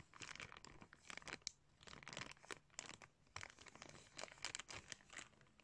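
Fingers crinkle and pull a clear plastic bag with blue sunglasses inside. The result is a quiet, continuous stream of bright, crackly crinkles in irregular bursts, with brief sharp snaps and little low end.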